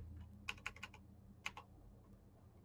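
Fingertips type on a black Razer mechanical keyboard with plastic keycaps and clicky switches, at a slower pace with pauses. Seven bright, sharp clicks come in two bunches, five early and two later, over a faint low hum. The clicks ring only briefly before the quiet returns.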